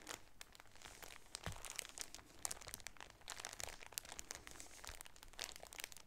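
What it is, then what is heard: Plastic-wrapped shower curtain. A striped shower curtain packed in a clear plastic bag with a grommet is crinkled at the top with fingernails, then squeezed with both hands. Dense, bright crackling and crinkling comes in quick bursts at a quiet level, with occasional low thumps underneath.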